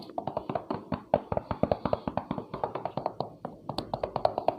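A cheap daily-use motorcycle helmet, about 600k rupiah and apparently a Zeus, is knocked on the outside of its shell while being worn. It gives 33 quick, dry, sharp taps with a hollow, mid-pitched tone around 640 Hz, little low end and almost no ring. The loud, sharp sound suggests a very thin shell.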